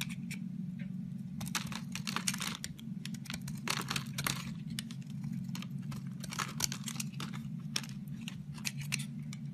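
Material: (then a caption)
Soap. A metal razor blade carves into a solid white Safeguard bar soap with an embossed logo, held in the hand, scraping off shavings. Crisp, bright scraping and crackling strokes come in quick, uneven bursts over a steady low hum. Each stroke cuts off sharply, with almost no ring.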